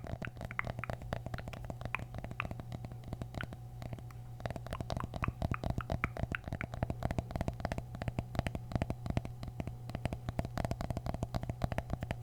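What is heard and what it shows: Mini pumpkins from the grocery store are tapped with the fingers, producing a rapid, steady stream of short, dull knocks over a low, constant hum near 100 Hz. The taps are soft and woody with little ring, occasionally brightening into slightly crisper clicks.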